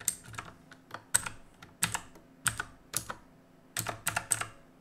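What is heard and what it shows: Fingertips press and tap individual plastic keys on a black plastic and metal mechanical keyboard. Sharp, bright clicks arrive in an uneven typing rhythm, each with a soft low thud underneath and a very quick decay. Brief silent gaps fall between bursts of keystrokes.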